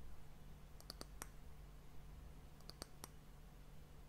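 Long nails tap the top of the round, solid, glossy brown wooden end cap of a glass sand timer, tilted toward the mic. Two short bursts of quick, dry, bright clicks stop instantly with no ring, over a steady low hum.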